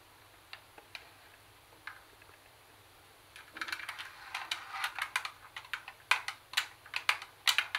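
Long acrylic nails tap the plastic top panel of a hollow Sony CD cassette boombox and the edge above its metal speaker grille. A few sparse, quiet clicks give way to a faster, louder, irregular run of bright, sharp taps that die away almost instantly.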